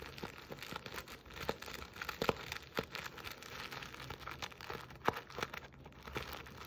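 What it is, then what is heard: Burlap stocking scratched. Long nails scratch, pinch and rub the coarse jute weave of a soft burlap Christmas stocking with a buffalo check plaid fabric letter appliqué, close to the microphone. A dense stream of dry, crinkly scratches and short rasping strokes is heard, with a few sharper snaps standing out.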